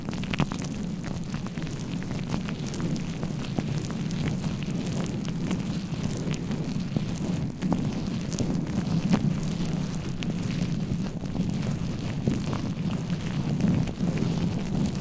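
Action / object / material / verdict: scrape / foam microphone windscreen / foam / none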